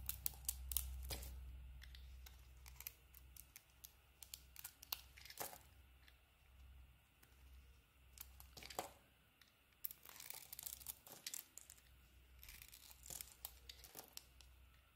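A solid soap bar with a pink patterned outer layer and a cream core is shaved with a small metal blade, and chunks fall away. Quiet, crisp scraping and sharp cutting clicks come in irregular bursts, with bright, dry snaps over a steady low hum.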